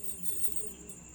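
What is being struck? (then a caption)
Bunch of metal keys. Metal keys are shaken, giving a continuous bright jangle of small metallic clinks with a light, steady rattle over about a second. The keys are correctly identified by the listener.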